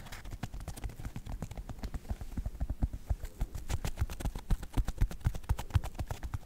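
Fingertips and nails tap and scratch the synthetic leather upper of a white Nike sneaker near the laces. The result is a quick, fairly irregular run of soft, dull, low thuds with faint bright scratchy edges, each dying away almost at once.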